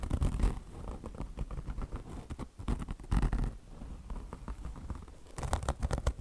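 Long blue nails on both hands scratch fast at a beige, peanut-shaped car wash sponge made of mesh fabric chenille over foam. The result is a dense, rapid, low, rumbling scratch texture, with louder bursts near the start, around the middle and at the end.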